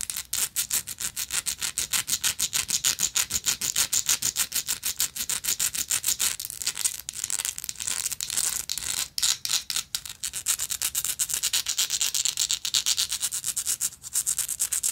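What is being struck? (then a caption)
Textured metal lighter. Long acrylic nails rapidly scratch a gold, textured metal lighter held in the palm. The sound is a steady stream of quick, bright, raspy strokes with almost no low end and uneven rhythm, each stroke dying away instantly.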